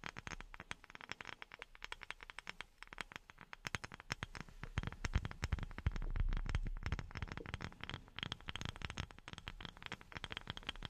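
A wooden object is tapped with silicone rubber pads worn on the fingertips. The taps come quickly and unevenly, each dull and short with little ring, with a soft, low-heavy body. They grow denser and louder in the middle of the clip before easing off.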